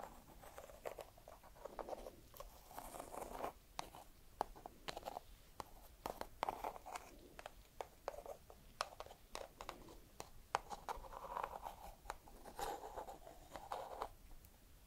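A single small whole walnut in its hard woody shell is held in both hands and scratched with long red nails. The result is quiet, dry scratching and tapping with a midrange rasp and many short, sharp clicks that die away instantly.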